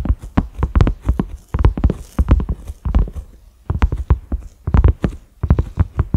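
A large, flat cream silicone pot lid with concentric ridges and a black center knob is tapped with the fingertips and short nails of both hands. The taps come as quick, dull, low thuds with almost no ring, grouped in uneven bursts with short pauses, a soft clip-clop-like patter.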